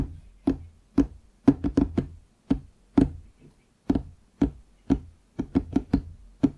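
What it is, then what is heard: Wooden desk. Fingertips tap the front edge of a large, solid wooden desktop, just below the microphone. Sixteen short, dull knocks with a low woody tone around 277 Hz die away almost at once, in an uneven rhythm with some quick clusters of taps.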